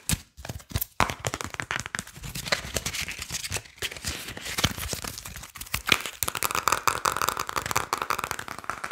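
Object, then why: Deck of printed paper playing cards. A small deck of printed paper and cardboard Briscas playing cards is held in the hands close to the mic while fingertips and nails tap, flick and riffle the cards. Fast, sharp, dry clicks and snaps come in dense bursts over a bright, crinkly rustle, with a steadier whirring flutter from riffling near the end.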